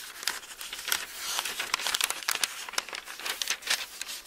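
Thumbs and fingertips turn and crinkle the thin paper pages of an open bible one at a time. The result is a steady stream of soft, papery rustles and sharp, bright crinkles with no low end.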